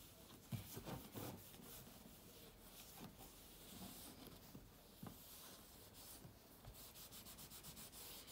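A microfiber cloth wipes the white aluminium lid of a closed, thin laptop, then the laptop is lifted and the cloth rubs along the lid's edge. The result is a soft, continuous swishing rub with bright hiss and a few dull bumps early on, ending in quicker, steadier back-and-forth strokes.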